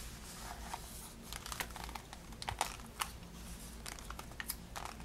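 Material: Cardboard, cellophane.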